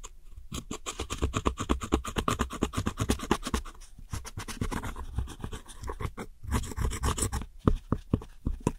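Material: Pressed powder.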